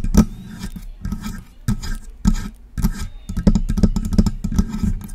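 Long press-on nails tap and scratch the upper body of a silver metal USB desktop microphone near its knobs, on its hollow body. Quick, close, hollow knocks with a low resonant thump are heard, mixed with dry scraping rasps, in an uneven stream of taps and scratches.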